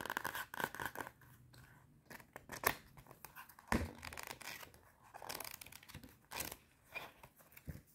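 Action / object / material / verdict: scrape / cardboard notepad with metal spiral binding / cardboard / none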